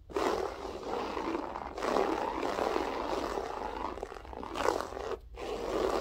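Long nails scratch and rake across a grey loop-pile berber carpet, with both a single finger and the whole hand. A dry, fibrous rasp runs almost continuously in the midrange, swelling with each stroke and dropping out in brief pauses near 1.7 and 5.2 seconds.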